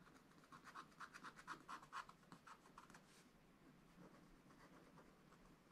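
A wooden stylus scratches away the black wax coating of a thin, solid scratch-art card page on a zebra picture, in a spiral-bound book lying flat on a table while the other hand holds the page. Twelve quick, raspy strokes with a mid-pitched, papery edge come first, followed by softer, steadier scratching through the rest of the clip.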